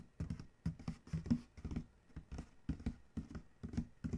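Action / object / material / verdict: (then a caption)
tap / corrugated cardboard shipping box panel / cardboard / none. A fingertip scratches and traces the printed side of a large corrugated cardboard shipping box, then the hand taps the panel. The result is a quiet run of soft, dull, low scratching strokes and taps with short decay, separated by brief pauses.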